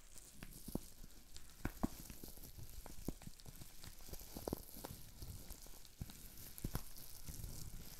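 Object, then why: Plastic bubble wrap sheet. A green plastic bubble wrap sheet with small air bubbles is held in the hands, and the bubbles are squeezed and popped. Rapid, irregular crackling results: sharp, short pops rise over a steady, faint crinkly hiss with a bright, sizzle-like top.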